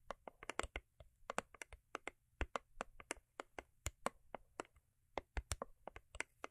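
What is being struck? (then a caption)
Foil-paper-covered cardboard box. Long acrylic nails tap and scratch the sides of a small, hollow, cube-shaped rigid cardboard gift box covered in holographic foil paper. The result is a quick, irregular series of dry, sharp clicks with bright edges that die out almost instantly, over a faint low hum.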